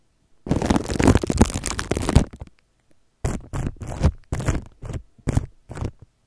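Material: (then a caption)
Plastic film. Fingertips rub, scratch and crinkle clear plastic cling film wrapped around a microphone. A long, continuous stretch of dense, low, rumbling crinkling is followed by a pause, then a series of short separate scratchy bursts.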